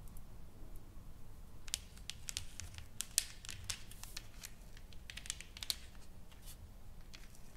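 Long painted fingernails tap a solid, flat wooden sign painted with flowers and lettering as it lies on a table. The result is a quiet, irregular series of sharp, dry clicks and light scratches with no ring, over a faint low rumble.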